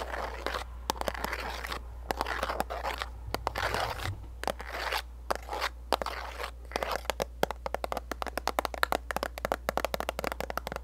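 Long nails scratch and tap a pink printed cardboard gift box with a clear plastic window and contents inside. Dry, crinkly scraping bursts fill the first half, then give way to a rapid series of sharp, bright taps, all over a faint low steady hum.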